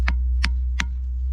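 A hammer strikes a diabase boulder in the Ringing Rocks boulder field three times, each blow giving a short, dull tick with no ringing tone. Unlike the boulder next to it, which rings, this one sounds dull, heard over a steady low hum.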